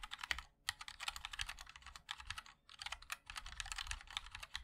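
Fingertips of both hands type continuously on a MOD-L 60% mechanical keyboard with a black aluminium case, white and black ABS keycaps and linear switches. It makes rapid, bright, crisp clacks with very short decay and little low end, in two bursts separated by brief pauses.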